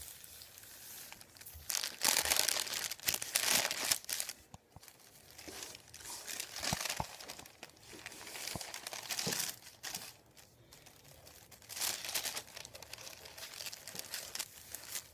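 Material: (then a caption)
Paper. Fingertips rub, lift and crinkle a thin sheet of printed white paper resting on a wooden table. Bright, dry crinkling comes in louder bursts around two to four seconds and again near twelve seconds, with softer rustling and scratchy rubbing between them and almost no low end.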